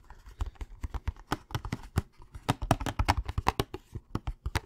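A hollow Thin Mints cardboard candy box is held up close and handled and tapped with fingertips and nails. About 22 quick, dry taps come in an uneven rhythm, each a short hollow thump with a bright papery click that dies away almost at once.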